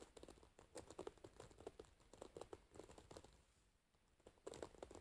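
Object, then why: Wooden paddle hairbrush with metal pins in a rubber cushion. Long white-painted nails scratch and pluck through the metal pins of an oval wooden paddle hairbrush, whose pins are set in a dark rubber cushion and which rests on a lap. Quiet, rapid crinkly plucks and short bright clicks with a midrange tone come in an irregular patter. The sound thins out briefly near the end, then a denser burst of plucking returns.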